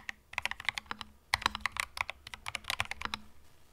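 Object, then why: Mechanical keyboard with plastic keycaps. Slow fingertip typing on a compact cream mechanical keyboard with plastic keycaps gives about 21 separate keystrokes. Each is a short, dry, bright clack with almost no ring, and a brief pause near the start of the second second.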